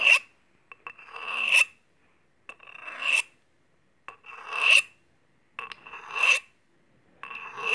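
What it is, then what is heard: Steel kitchen scissors scraped on a honing rod. Steel kitchen scissors, held open in hand, have a blade scraped along a steel honing rod in five separate strokes, the last one cut off. Each stroke starts with a light tick, then a bright, rasping metal scrape with a steady ringing tone near 2.7 kHz swells louder toward its end and stops abruptly.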